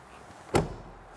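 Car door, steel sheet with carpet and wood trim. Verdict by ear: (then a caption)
Solid. A Mercedes 190 EVO2 car door, built of steel sheet metal with carpet and wood trim, is closed once, giving a single solid, heavy thud with a low, dull body and almost no ring. The sound is credited to the sheet metal, carpet and wood, in contrast to modern doors made of cardboard, paper or light fibre.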